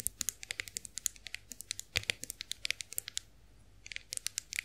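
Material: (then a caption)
Chrome-plated metal. Long nails tap the handle and ridged rollers of a chrome-finished face roller held in the hands. The result is a rapid series of sharp, bright, clicky metallic taps with almost no ring, with a brief pause before the tapping resumes.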